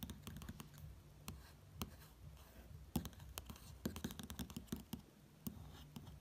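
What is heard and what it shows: Fingertips trace and lightly tap over the flat, thin glossy pages of an open print magazine showing Longines watch ads. Soft, quiet scratchy brushing mixes with many sharp little clicks that flash bright across the whole range. A steady low hum sits underneath.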